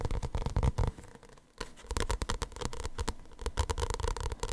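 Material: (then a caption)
Paper. Fingertips and nails tap and scratch the glossy printed paper cover of a small paperback manga with a solid stack of pages, held close to the mic. The result is a dense run of soft, low, thumpy taps mixed with dry scratching, easing into a brief quiet stretch near the middle before the tapping picks up again.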